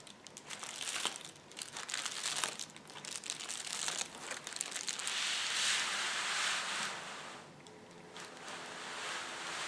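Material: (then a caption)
Plastic. Both hands press and rub a large, flat sheet of clear plastic bubble wrap on a table with their fingertips, producing bright, dense crinkling and crackling. Sharp crackles come in quick, uneven bursts, then merge into a steadier rustling wash midway through. The sound dips quieter near the end before picking up slightly again.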